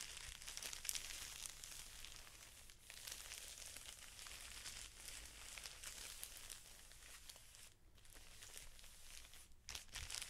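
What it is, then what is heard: Plastic-wrapped felt sheet pack. Fingertips press and rub the top edge of the clear plastic wrapper on a pack of felt sheets, crinkling it. The result is a continuous, bright, crackly rustle with dense irregular crackles and brief quieter gaps, mostly high-pitched with little low end.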